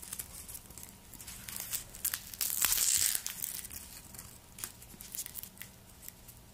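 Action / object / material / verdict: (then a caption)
scrape / garlic bulb outer skin / papery skin / none. Black nitrile-gloved fingertips rub and peel the dry, papery outer skin of a whole, solid, hand-sized white garlic bulb. The result is a run of quiet, bright crinkles and crackles, with one louder, longer tearing rip near the middle before the soft crinkling resumes.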